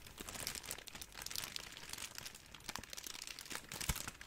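A hand-sized ball of clear, thin, hollow crumpled plastic cling wrap is squeezed and crinkled with the fingertips of both hands in front of a microphone. The result is a steady, quiet stream of dense, bright crackles and crinkles, with a sharper, fuller crunch near the end.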